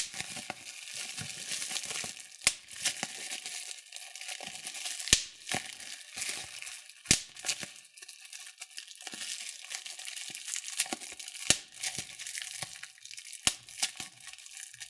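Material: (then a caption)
Plastic. Fingers squeeze and crush a sheet of clear plastic bubble wrap, popping the bubbles. A steady bright crinkling rustle runs throughout, broken by sharp, short pops at irregular intervals.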